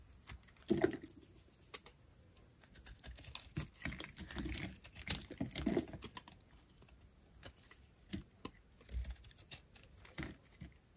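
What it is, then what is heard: Dry bar of soap. A hand with long painted nails holds a cream-white solid bar of dried soap in the palm and scrapes and shaves curls off it with a metal utility knife blade. The clip is full of quiet, crisp, dry scrapes and sharp ticking clicks, with a few louder rasping strokes. Each sound fades almost instantly.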